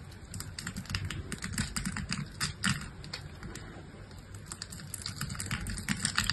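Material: Soap.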